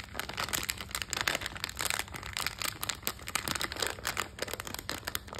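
A small printed metallized foil-plastic snack bag of FunBall coated peanuts, full of candy, is held in both hands and squeezed and crinkled with fingertips and long nails. Dense, bright crackling and crinkling runs steadily throughout in rapid overlapping bursts, with a faint low hum underneath.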